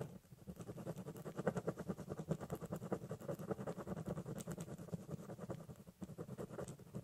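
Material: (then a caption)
Cardboard. A ballpoint pen rapidly hatches across the top of a large corrugated cardboard box with scratching strokes. A dense run of quick, short, dry scrapes carries a hollow low body, pausing briefly near the six-second mark before resuming.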